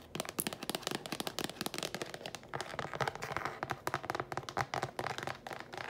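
Long, pointed painted nails tap and scratch fast on the lid and sides of a hollow, empty-looking blue translucent rectangular plastic food storage container with a lid, held in the hand. The result is a dense, rapid stream of short, dry clicks with almost no ring, mixed with brief bright scratching swishes.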